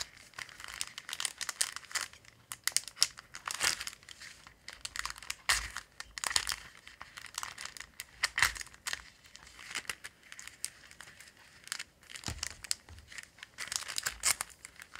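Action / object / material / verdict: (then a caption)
scrape / thin clear plastic acetate sheet / plastic / none. A large, thin, flexible clear acetate transparency sheet printed with black floral line art, lying flat over a lace doily, is bent and crinkled by fingertips with long pink nails. Irregular bursts of bright, crisp crinkling rise and fall across the clip, with very little low end and no ring after each crackle.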